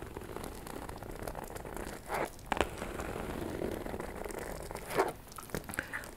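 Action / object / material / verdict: scrape / faux leather shoulder bag / faux leather / none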